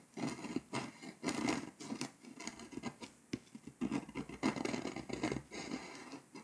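A pink scraper tool scratches the foil coating off a flat, foil-coated paper scratch-off map along the edges of Hungary. Quick, dry scratching strokes come in uneven bursts, with a gritty, papery texture centered in the low-mids and a faint bright hiss. The strokes stop cleanly with no ring, and there are short quiet gaps between them.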